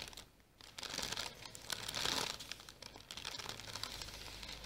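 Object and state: Tissue paper package crinkled by fingernails.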